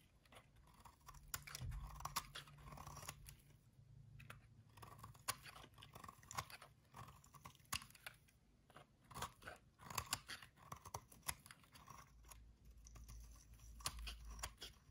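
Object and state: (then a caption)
Dry soap bar. A metal utility-knife blade scrapes crispy flakes off a solid, dry white soap bar held in the hand. It makes a rapid series of short, dry, bright crunching scrapes with a steady midrange rasp and occasional low handling rumble. The flakes come off with a crisp, crackly texture throughout.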